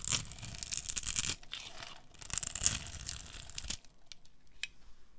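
A metal blade scrapes the scored surface of a pink solid bar of dry soap held in the hands, cutting it into cubes. Bright, dry scraping and crumbly crackles come in uneven bursts, louder in the first half, with quieter scratches toward the end.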